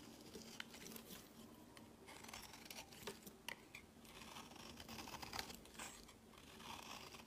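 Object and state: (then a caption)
Bar soap being shaved. A metal box-cutter blade shaves fluffy curls off the edge of a pink, solid, rounded bar of soap held in the hand. Quiet, continuous, bright scraping and crinkling run throughout, broken by brief sharp clicks where the blade bites into the soap.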